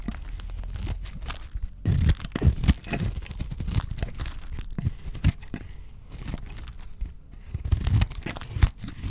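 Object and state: Dry soap bar.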